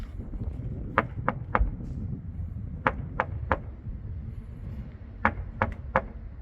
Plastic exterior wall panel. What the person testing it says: 텅텅 소리가 납니다. 아니 텅 비어 있는 소리예요.